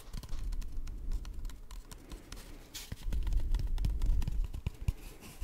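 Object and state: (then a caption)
Hollow cardboard tube. An empty, hollow brown cardboard tube is held close to the microphone and tapped and scratched with fingertips and short nails. Quick, irregular taps land as soft, hollow low thuds over a dry scratching texture. Each tap stops almost instantly.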